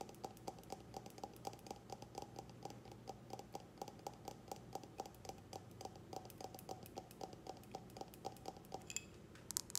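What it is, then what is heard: Glass tumbler tapped with nails. Long nails tap and scratch an empty clear round glass tumbler held base-up, making a steady, rapid run of light, dry clicks with a faint glassy ring. Each tap dies away almost at once over quiet scratching, and a few sharper, brighter clicks come near the end.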